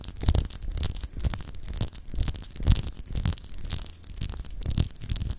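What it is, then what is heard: Glass globe paperweight being scratched. Long acrylic nails scratch over a palm-sized solid clear glass globe paperweight with etched continents, held in the hand. Uneven bursts of bright, dry scratching rise and fade over a low, rumbling handling noise, with no ringing tone.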